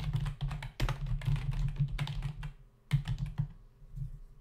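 Fingertips of both hands type on a black plastic membrane computer keyboard with plastic keys and a hollow body, sitting on a desk. The result is a quick run of short, muffled, low-heavy key taps, a brief pause, then a few more taps that trail off softer.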